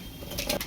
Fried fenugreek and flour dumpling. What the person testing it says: Et bien croustillant. Vous entendez le bruit ?